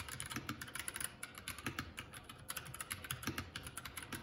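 Fingertips of both hands type continuously on a Keycool K84 75% mechanical keyboard with plastic keycaps. The result is a quick, steady stream of short, dry clicks and clacks with a bright top end and a light low thud under each keystroke.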